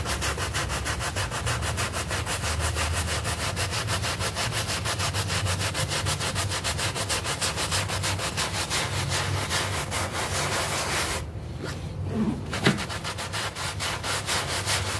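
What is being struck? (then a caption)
Wet artificial-grass doormat scrubbed with a bristle brush. A bristle hand brush scrubs and rubs across a small, wet, green synthetic-turf doormat with foam, making a steady, rhythmic, raspy swish with bright bristle noise over a low rumble. Near the end the scrubbing stops briefly, leaving a quieter wet, squelchy stretch and a sharp tap before the brushing resumes.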